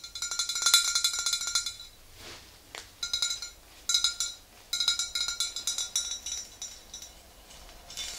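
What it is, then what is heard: Glass bottle tapped with fingernails. A tall, clear glass swing-top bottle, mostly full of yellow liquid and standing upright, is tapped on its sides with long green-painted nails, with the hands moving toward the neck near the end. Quick bursts of bright, glassy clinks ring with a high tone near 3.9 kHz, separated by short quiet pauses. Each tap rings only briefly before fading.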